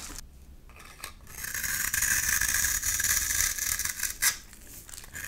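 A flat metal blade scrapes shavings off a solid pink bar of soap with an embossed logo, held in one hand. A dry, bright rasping scrape builds and holds steady through the middle, ending with a short sharper scrape before fading to quieter rubbing.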